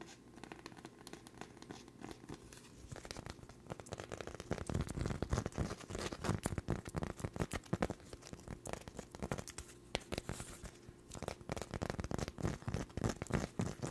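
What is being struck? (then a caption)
Thin cork coaster. Long nails tap and scratch a thin, solid, flower-shaped cork coaster with a darker center in fast, irregular bursts. The sound is dry and papery, with quick taps mixed with crinkly scratching. It starts quiet for the first few seconds, then turns denser and louder, with low, muffled thuds.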